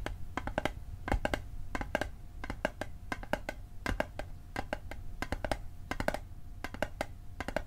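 Fingertips tap the side and bottom of a small, hollow, rectangular metal Altoids mint tin held on its edge. Quick bursts of short, dry, clicky taps with a faint tinny ring around 600 Hz come in clusters separated by brief pauses. A low background rumble runs underneath.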